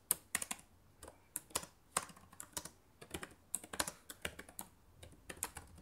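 Fast typing with fingertips and long nails on the plastic keys of a black laptop keyboard. The clip is a quick run of short, sharp, bright clicks that die away almost instantly and come in uneven bursts.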